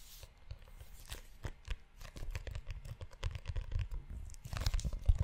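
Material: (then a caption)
Leather. Fingertips and short nails scratch and tap the cover of a tan, book-sized leather notebook held in one hand close to the mic. The result is a quiet, dense run of short, dry scratches, rubs and taps with a soft tearing, crinkly texture, mostly low and muffled, with occasional bright flicks. It grows busier and a little louder toward the end.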